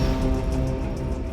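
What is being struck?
Nothing is struck.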